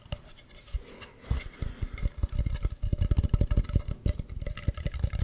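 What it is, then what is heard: Carved wooden mask. Fingernails scratch and tap along the grooves and rim of a hollow carved wooden mask with a ribbed, textured surface. Quiet rasping at first gives way to a quickening run of short, dry, low knocks with a faint hollow tone, each dying out almost at once.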